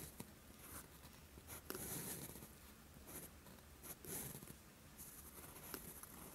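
A steel fountain pen nib scratches along a flat sheet of lined writing paper while writing. Quiet, dry scratching strokes come in short, brighter bursts with a high hiss, separated by soft taps as the nib lifts and touches down again. The scratches fade quickly against a faint low background hum.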